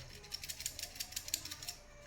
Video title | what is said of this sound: Samsung Refrigerator cooling problem-Samsung Relay Replacement-Relay aur OLP kaise test kare. | इसको जब मैं ऐसे हिला रहा हूं ना तो ये आवाज आ रहा है